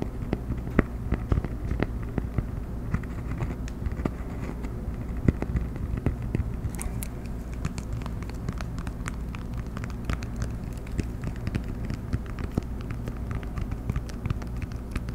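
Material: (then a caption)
Cork. A flat, round cork coaster is held horizontally while fingertips and nails tap and scratch across its surface. The result is a steady stream of quick, dull, muffled taps mixed with soft, crackly scratching, with the sound mostly low and muted over a constant low background rumble.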